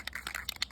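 A metal aerosol rattle can of flat black spray paint is shaken to mix its contents before spraying. The contents rattle inside the can as a quick series of short, bright, clicking ticks with almost no low end, each dying away at once.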